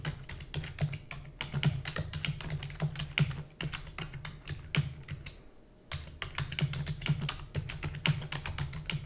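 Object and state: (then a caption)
Plastic computer keyboard being typed on. Fingertips with long natural nails rapidly type on a black full-size plastic computer keyboard with hollow key housing. The result is a fast stream of short, bright, hollow clicks with almost no ring, over a steady low hum. There is a brief pause in the typing around the middle.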